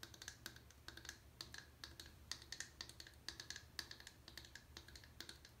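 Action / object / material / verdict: tap / bar of soap / soap / none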